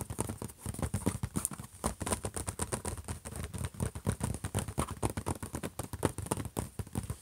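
Fingertips rapidly tap and scratch around the logo on a closed, silver, hollow HP laptop lid. The result is a dense run of short, dull, low thumps with very little ring, layered with faint scratchy rustling and a thin, steady high hiss.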